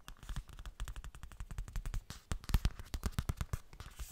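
A hollow yellow zippered fabric cosmetic pouch, probably coated fabric, is tapped rapidly with fingertips and nails. It produces a fast, irregular stream of short, dull, low thuds, with some sharper, brighter clicks mixed in. Each tap dies away almost instantly.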